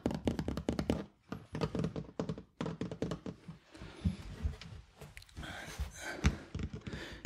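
A large, hollow, empty hooded cat litter box in hard plastic, with a white lid, blue base and clear door flap, is held up and knocked and tapped with fingertips and knuckles. It gives a quick run of dull, low, hollow thunks that die away almost instantly, followed by softer, scattered taps and light brushing noise.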